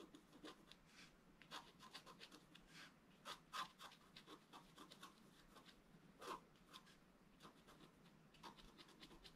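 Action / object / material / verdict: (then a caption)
scrape / wooden stylus on coated scratch-art paper board / coated paper / none. A wooden stylus scratches fine lines into a flat black coated scratch art paper sheet. The quiet, dry strokes come in short bursts of bright rasping and scraping, with a few louder scrapes standing out and no ringing after each stroke.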